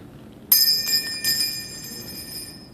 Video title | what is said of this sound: synchro check | a good blocker ring will have kind of a ring to it if you were to drop it on the ground